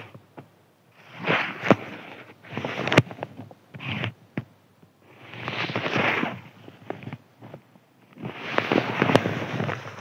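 A thin white crinkly paper sheet is scratched with fingertips and nails. The result is bursts of dry, crackling rustle separated by brief quiet gaps, with sharp ticks scattered through.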